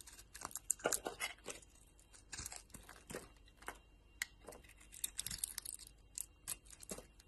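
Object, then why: Bar of soap. A utility knife blade shaves thin curls from a solid embossed soap bar, purple outside and yellow inside, held in the hand. Quiet, bright, crisp scraping and crackling comes in short, irregular bursts, each cutting off quickly with almost no ring.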